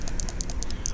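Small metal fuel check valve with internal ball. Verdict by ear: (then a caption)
Free. A cleaned fuel system check valve from a 2018 Grizzly 700 ATV is shaken back and forth, and its internal ball rattles in quick, light clicks. Mud and silt residue had kept the ball from moving until it was cleaned with degreaser. Now the ball moves freely, which is the desired state.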